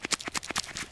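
A Schrade SCHF36 fixed-blade knife is shaken in its sheath, giving a quick run of light, bright clicking rattles as the knife knocks loosely inside. The rattle means the knife sits loose in the sheath, though only a little.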